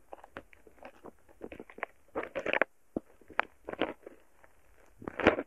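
A thin wooden stick repeatedly presses and pokes into a soft, solid mound of purple foam-bead slime (floam). This produces a series of small crackling bead pops, with short bursts clustered around the midrange.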